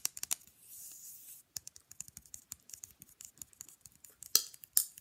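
A small, rigid, flat rectangular printed picture fridge magnet is held upright and tapped with the long nails of the free hand. The result is a fast, irregular run of sharp, bright clicks, with a soft high scratching hiss early on and two louder taps near the end.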